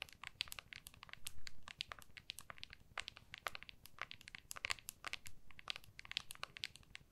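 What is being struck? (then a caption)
Smartphone in a hard plastic case. An iPhone in a clear hard plastic case is held in both hands while long nails tap and scratch the back of the case. The result is a quiet, rapid, uneven stream of sharp, bright clicks mixed with dry scratching, with no ring after each tap.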